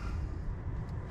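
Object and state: Nothing is struck.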